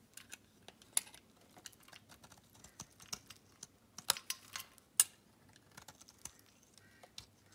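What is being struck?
Thin slab of bar soap scraped by a metal blade.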